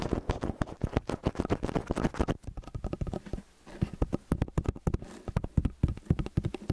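Fingertips tap quickly and repeatedly on the two angled capsules of a metal stereo microphone. The result is a rapid, dense patter of dull, boomy low thumps with almost no ring. The tapping eases briefly near the middle, then resumes at the same quick pace.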